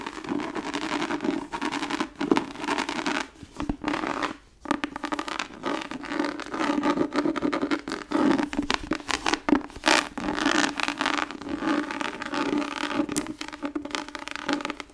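A tan, embossed, tooled-leather book cover is held in the hands while long nails scratch and tap across its front. The result is dense, continuous scratching and scraping with quick taps mixed in. A steady low-mid tone runs underneath, and brief pauses break up the sound.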